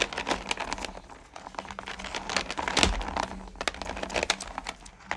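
Long-nailed hands dig into and spread their fingers across small, solid pumpkin candy corn in a purple plastic pail. The result is a dense, bright stream of rattling clicks and crinkly shifting. The pieces knock against each other and the plastic, over a faint steady low hum.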